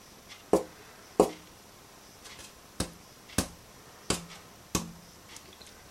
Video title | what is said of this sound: Building a parlor guitar part 4: the rosette 2 | make sure you hear these sounds and did they go through the board you want to hear it and that's that's the sound we want